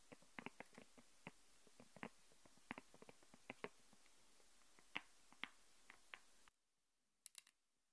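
Long painted nails tap and scratch a thin, flexible, transparent plastic sheet lying flat on a wooden table, lifting it slightly so it presses against the wood. A quick, irregular run of sharp, bright plastic clicks and taps plays over a steady hiss. The hiss cuts out abruptly near the end, leaving a final short cluster of taps in near silence.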